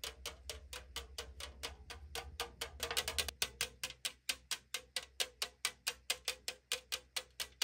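Long nails tap and scratch the side wall of a tall 500 ml aluminum drink can held on a table, producing quick, bright, clicky taps with a hollow, thin-metal tone that die away almost instantly. The taps come in a fairly steady run of about two per second, with a brief burst of denser scratching near the middle and a low rumble under the first part.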